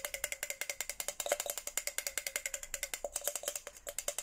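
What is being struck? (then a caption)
Plastic tumbler tapped with a plastic straw. A red plastic straw taps rapidly on a hollow white and pink Hello Kitty plastic tumbler. About 39 quick, dry clicks sound, each with a faint tone near 580 Hz and a bright, crisp top. Every tap dies away almost instantly with very little ring.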